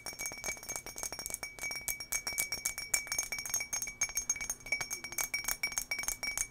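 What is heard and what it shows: An empty turquoise embossed glass tumbler is held up and tapped with long nails on its sides and base. A rapid, continuous stream of light, bright clinks rings briefly around a steady tone near 2.3 kHz with high overtones, and almost no low end.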